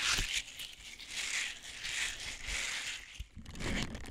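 Small, hollow, flexible blue silicone scrubbers with a hanging loop and bristled surface are handled, squeezed and rubbed with the fingertips close to the mic. Bright, crinkly rustling swells and fades in repeated waves, with occasional soft low thumps from the handling.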